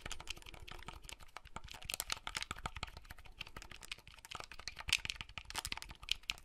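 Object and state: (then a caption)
Plastic handheld game console, buttons pressed. Fingertips press the buttons of a small, hollow red plastic clamshell handheld console and handle its folding shell. The result is a steady run of quick, dry, bright plastic clicks and taps, with almost no ring after each one.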